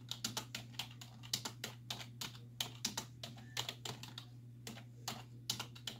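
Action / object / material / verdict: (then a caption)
tap / plastic computer keyboard / plastic / none. Long nails and fingertips tap rapidly on the hollow keys of a black plastic computer keyboard resting on a wooden desk. The typing comes as quick, irregular bursts of bright, sharp clicks that die away almost at once, over a steady low hum.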